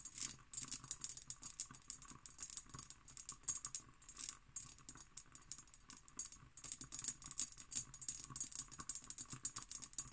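Long green nails tap quickly on an empty, hollow hobnail-pattern cut glass decanter with its stopper. The result is a steady stream of dense, bright, crisp clicks that stop short with almost no ring, over a faint low hum.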